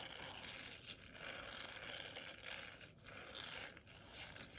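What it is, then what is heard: Silicone scrubber pad. Long nails scratch and rub across a small, flexible, round blue silicone scrubber pad with a bristle texture. The result is a continuous, bright, scratchy rustle that swells and briefly dips as the strokes change.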